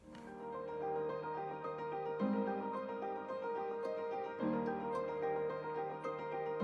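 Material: Nothing is struck.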